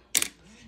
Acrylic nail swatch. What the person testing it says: I can tap it and you can hear the sound, so it's all dry now.